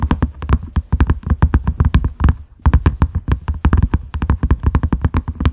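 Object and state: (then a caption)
Silicone lid. A large round cream silicone lid with concentric ridges, a side handle and a grey knob rests on a dark mat and is tapped with the fingertips and short nails of both hands. The rapid, soft taps land as deep, dull thumps with almost no ring and a light clicky edge, pausing briefly around the middle before picking back up.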